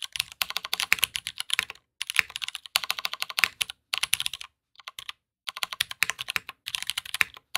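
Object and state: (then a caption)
Mechanical keyboard typing. A black aluminum-cased Matrix 2.0add mechanical keyboard with Hyperglide MX Brown switches and plastic keycaps, resting on a desk mat, is typed on quickly with the fingertips of both hands. Bursts of crisp, bright, dry keystroke clacks with almost no low end are separated by brief pauses, each click dying away instantly.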